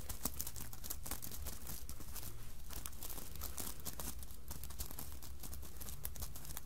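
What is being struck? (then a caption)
Sequined fabric hat. Long nails scratch and tap across the sequined surface of a red sequined fabric Santa hat lying on a table. The result is a steady, crinkly rasp with bright clicks and scattered taps running throughout, over a constant low hum.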